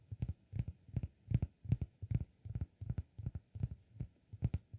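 Fingertips tap the face and edge of a round, flat, solid cork disk held edge-on. The result is a quick, uneven run of soft, dull, low thuds, often in close pairs, each dying away almost instantly with no ring.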